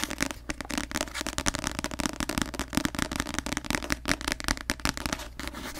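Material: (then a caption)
Paper. A paperback novel with a glossy paper cover is tapped rapidly with long nails on the cover. The result is a dense run of crisp, dry clicks that die away almost instantly. Each click is bright, with a light papery body, over a faint steady low hum.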